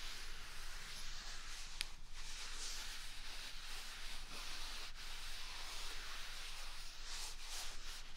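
A single large, upright white paper toilet roll with a hollow core is rubbed with the flat palm and fingers across its top and side. The result is a steady, soft, bright papery hiss and rustle lasting about eight seconds, with one brief sharp tick near the two-second mark.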